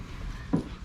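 A single knock on whitened-oak joinery inside a catamaran's interior gives a short, dull, low thud centred around 160 Hz that dies away almost at once. It sounds like solid oak woodwork rather than a composite.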